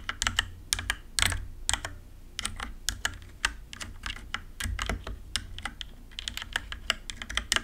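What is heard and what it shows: A compact 60% RGB-backlit mechanical computer keyboard with plastic keycaps is typed on rapidly with fingertips and long nails. Dozens of sharp, bright plastic clicks and clacks come in quick bursts, each dying out almost instantly, over a steady low hum.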